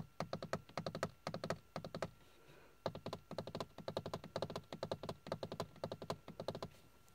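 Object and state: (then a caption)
Hollow plastic dashboard panel. Fingertips and nails tap and scratch a hard, hollow, grained plastic dashboard panel with carbon-look trim, producing quick bursts of short, dry, hollow clicks. The taps come in rapid runs with a brief pause near the middle, each dying out almost instantly over a faint steady hum.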